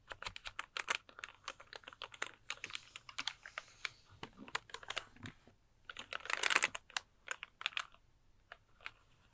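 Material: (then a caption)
Plastic. A pink plastic computer keyboard is held up beside the mic while fingertips type and tap quickly on its plastic keys. The result is a fast run of short, crisp, bright clicks with almost no low end, swelling into a denser, louder flurry of tapping about two-thirds of the way through before easing back to scattered clicks.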